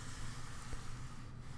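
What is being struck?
Nothing is struck.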